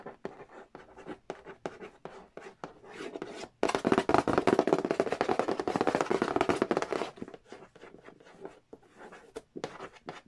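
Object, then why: Printed cardboard game box lid. A fingernail traces the printed characters on the glossy printed cardboard lid of a large, flat, hollow Monopoly Nintendo edition box, making quick, irregular, dry taps and short scrapes. In the middle, this gives way to a louder, dense stretch of continuous scratching. It then returns to sparse, light tapping.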